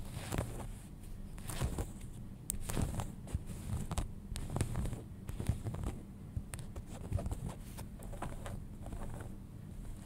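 Fingernails scratch and rub the back pocket area of a pair of folded denim jeans. Soft, dry scratching strokes and quick raspy flicks repeat unevenly over a low, steady rumble with a faint bright hiss.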